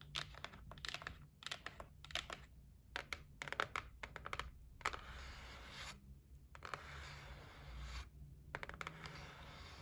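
Long nails tap quickly on the edge of the lid of a closed white cardboard gift box resting on a wooden table. Bursts of sharp, dry clicks with a bright edge come in clusters, alternating with brief scratchy, rustling passages over a low steady hum.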